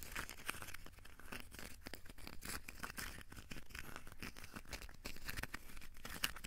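Fingertips tap and scratch a small, solid, crumpled ball of aluminium foil. The result is a quiet, steady stream of crisp, crinkly rustles and tiny dry clicks that die away instantly, with bright, hissy highs over a faint low hum.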